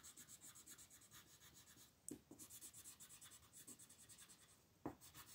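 A purple wooden colored pencil scratches and rubs across a thin sheet of white mandala paper lying flat on a table, held by a hand with long nails. Short shading strokes make a steady, bright, papery rasp in a quick rhythmic series, with two sharper taps near 2 and 5 seconds.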